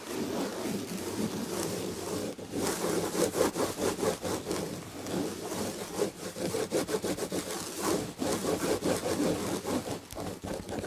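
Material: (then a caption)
Woven fabric. Long red nails scratch fast across the textured red and gold tapestry fabric of a padded chair back. The result is a steady, dry rasping that keeps going for the whole clip, full in the midrange with a bright, hissy top and quick pulses of rubbing strokes.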